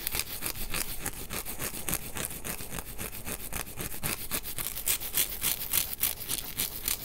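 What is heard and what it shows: A white nonwoven synthetic scour pad with blue soap starts on a counter, then is held in one hand while the fingertips and nails of the other hand scratch its fibrous surface. The result is a rapid, somewhat uneven run of dry, bright scratching strokes, about three or four per second, each with a short hiss and almost no ring, over a faint low rumble.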